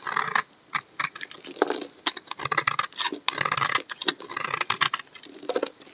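A hand-sized, solid cream-colored bar of dry soap is held in the hand and shaved along its edge with a black utility knife blade, producing curly flakes. A rapid series of crisp, dry scraping and crackling strokes is heard, bright and high with a short glassy edge and little low end, separated by brief quiet gaps.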